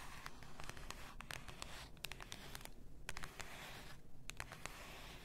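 Long nails scratch and tap the label area of a full glass bath salt bottle lying on fur. Quick, bright, dry taps pop out over a soft, continuous scratchy rustle with a low, muffled bed underneath, and each tap dies away almost instantly.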